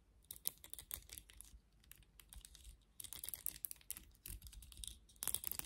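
Long nails scratch through the bristle pins of a black plastic vented hairbrush with some hair caught in its bristles. The result is quiet, rapid, bright clicking and raspy ticking that comes in several bursts, with short pauses between them.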